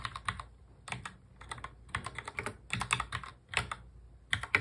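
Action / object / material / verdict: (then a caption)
tap / plastic mechanical keyboard / plastic / none. Fingertips of both hands touch type fast on a full-size black plastic mechanical keyboard. Quick, bright, clacky keystrokes come in uneven bursts separated by brief pauses, each click dying away almost at once.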